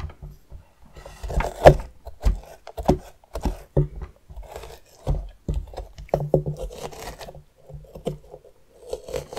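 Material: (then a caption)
Pumpkin rind. The edge of a metal spoon scrapes and scratches along the ribbed outer skin of a medium, hollowed orange pumpkin held on its side. Ten short, dull scraping strokes, low and muffled with little brightness, rise out of near silence.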